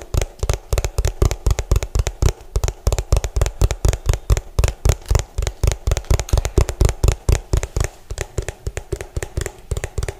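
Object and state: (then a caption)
Plastic food container tapped. Fingertips and nails of both hands rapidly tap the ridged base of an orange hollow plastic food container, its bottom turned toward the mic. About 50 quick, uneven taps land as deep, hollow thumps with bright clicky edges, each dying away almost instantly.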